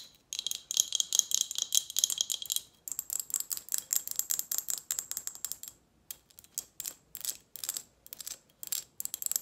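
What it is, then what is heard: Glass juice bottle. Long nails rapidly tap a partly full Snapple glass bottle with a metal lid while it is tilted in the hand. The result is quick, irregular bursts of sharp, bright clicks with a faint high glassy ring, broken by short pauses, with almost no low end.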